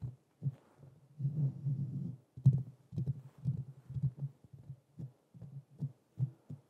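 Fingertips with short nails tap and scratch the hollow domed metal mesh grille of a black Blue Yeti USB microphone. A dull, bass-heavy thump repeats in a quick uneven series, and a longer stretch of continuous scratching comes early on. Each tap dies away almost at once.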